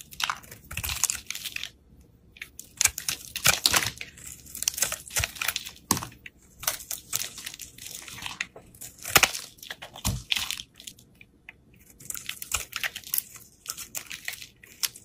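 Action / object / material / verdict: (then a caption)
scrape / bar of soap cut with a utility knife / soap / none. A solid green bar of soap is held in the hand while a utility knife cuts and shaves off layered slices. Bursts of crisp, bright scraping and crackling come and go with short pauses between them, with little low end.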